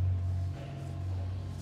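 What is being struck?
Nothing is struck.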